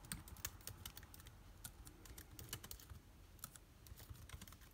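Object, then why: Laptop keyboard with plastic keys. A backlit MacBook Air keyboard with plastic keys is typed on rapidly with the fingertips of both hands. The result is a quick, steady stream of short, dry clicks and taps with bright ticks and a soft low thump under each press, each stopping almost at once.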